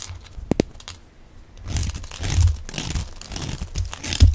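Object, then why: Soap bar. A utility knife blade shaves crumbly flakes off the face of a solid, hand-sized, yellow rounded rectangular bar of dry soap held in one hand. After a quiet start with a few sharp clicks, a dense, dry, crunchy scraping sets in, with a low thudding body and brief crackles. It ends in a louder crunch.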